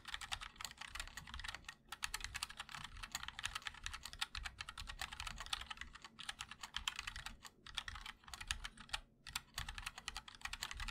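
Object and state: Mechanical keyboard with ABS keycaps in an aluminium case.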